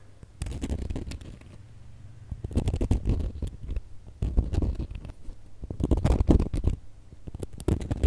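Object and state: Glitter plastic star ornament.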